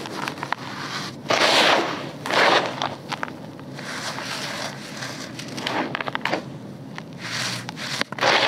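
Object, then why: Red soil with pebbles in a bucket. Bare, dirty hands sweep through and crush loose, dry red granular soil with small pebbles in a grey bucket, then sift handfuls so the fine dirt pours out. The result is a dry, crunchy crackle of grit and pebbles with sharp clicks. Bright, hissing bursts swell as the handfuls pour and crumble.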